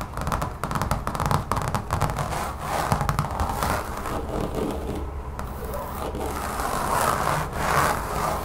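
Long fingernails on both hands scratch and tap quickly across a large, solid, brown textured rubbery mat lying on a table. The result is a steady, dense stream of dull, low-weighted scraping with quick soft taps mixed in. The sound has little brightness and only short ring after each tap.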